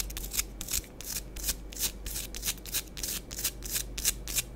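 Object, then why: Pressed powder bath bomb. Long acrylic nails scratch and scrape the flat cut face and curved surface of half a round pressed bath bomb of compacted powder, orange and green, palm-sized and solid, held in both hands above a powder-covered board. A rapid, uneven series of dry, bright, gritty scraping strokes is heard, each short and sharp with almost no ring, over a faint low hum.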